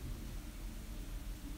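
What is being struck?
Nothing is struck.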